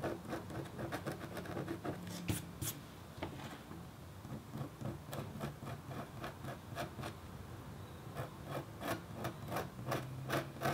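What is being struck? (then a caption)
Copper foil scratch board. A red-handled, metal-tipped stylus scratches across a thin, solid, flat black-coated copper foil scratch art board. It makes quick, uneven rasping strokes with short, bright scratchy ticks over a low, steady hum.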